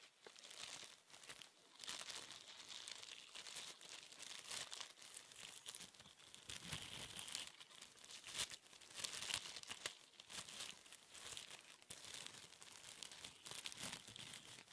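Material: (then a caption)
Plastic. A sheet of thin, clear plastic cling film is held in both hands and crinkled and rubbed between the fingers. It makes a quiet, steady stream of bright, crackling crinkles with almost no low end, rising and falling in small bursts throughout.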